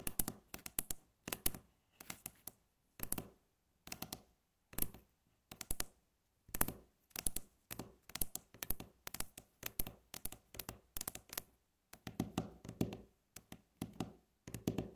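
Long natural nail tips tap rapidly with both hands on a flat, solid, light wooden tabletop. The sound comes as quick bursts of sharp, dry clicks that stop almost instantly, with brief silences between the bursts. In the last few seconds, some of the bursts turn fuller and scratchier.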